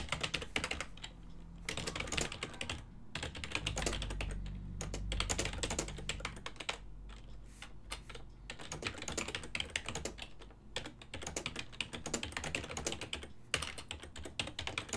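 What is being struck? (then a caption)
Plastic computer keyboard. A full-size black and silver ergonomic desktop keyboard, made of plastic with keys over a hollow body, is typed on continuously with the fingertips of both hands while the mouse sits idle. Rapid, dense, bright plastic clicks and clacks come in bursts with brief pauses between them. Each click decays quickly over a faint low hum that swells in the middle of the clip.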